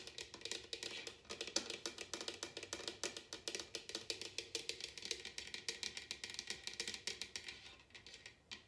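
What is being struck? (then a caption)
Upside-down bamboo wooden bowl. Long nails and fingertips tap the bottom of a large, hollow, empty bamboo or wooden bowl set upside down on a glass table. Dozens of quick, light taps follow one another steadily, each a bright, dry click with a faint hollow tone and almost no ring.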